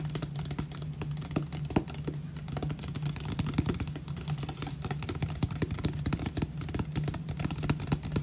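Fingernails tap and scratch the ridged body of an empty, hollow 500 ml clear plastic water bottle held close up, making a rapid, continuous run of light clicky taps and scrapes. A steady low hum sits underneath the dense, dry clicking for the whole clip.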